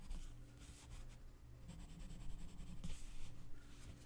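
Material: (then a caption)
Paper. A gloved hand scratches and rubs the tip of a wooden colored pencil across a mandala page in an open paper coloring book. The result is a quiet, uneven scratching and rubbing over a steady low hum, with brief bright bursts of grainy friction.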